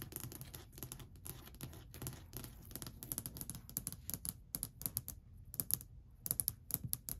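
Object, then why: Varnished wooden shelf tapped with acrylic nails. Long white acrylic nail tips tap quickly across a long, flat, solid varnished wooden shelf ledge. The result is a dense stream of dry, crisp clicks with bright high edges over a soft low knock, each tap dying instantly with no ring.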